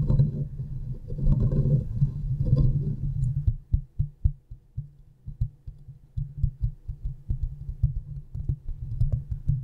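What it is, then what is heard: Metal mesh microphone grille scratched and tapped. Long fingernails of both hands scratch and tap the hollow metal mesh head of a silver condenser microphone. Dense, boomy low rustling scraping fills the first few seconds, then gives way to a quicker, irregular run of dull, thumping taps with very little high end.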